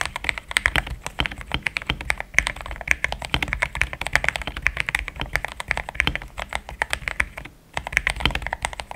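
Fast typing with the fingertips of both hands on a compact pink-white mechanical keyboard with thick plastic XDA keycaps, a polycarbonate plate and linear switches, resting on a desk mat. The key presses form a dense, rapid stream of short, dry clacks with a bright tone centered around 2 kHz and very little ring. The typing pauses briefly near the 7.6-second mark before resuming.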